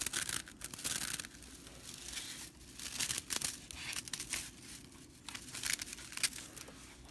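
Long nails scratch along the straw bristles of a whisk broom with red stitching. The result is a dry, bright, rattling scratch in uneven bursts that swell and fade with little low end.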